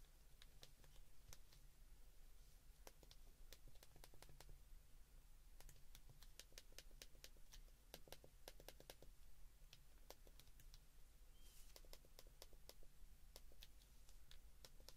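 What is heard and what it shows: Fingertips press the keys on an open white plastic flip phone, producing quick, dry plastic clicks in uneven bursts. The clicks are short and bright over a steady low hum.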